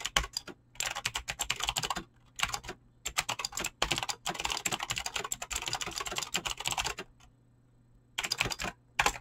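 Fingertips type fast on a Razer BlackWidow mechanical keyboard with clicky green switches and pink-blue dyed PBT plastic keycaps. The sound is a rapid stream of sharp, bright clicks in bursts, broken by short pauses, over a faint low hum. Each keystroke dies away almost instantly.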